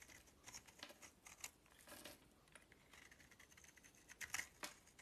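A solid oval bar of soap with a purple rim and white core is held in the hand and carved into crumbly flakes with a metal utility knife blade. Quiet, bright scraping and crinkly crumbling come in many short, dry bursts that fade almost instantly. The last second holds a few louder, sharper cuts.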